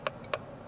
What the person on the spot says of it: it sounds plasticky when when you touch it that's obviously because it is plastic but it's just it's got a cheap feel to it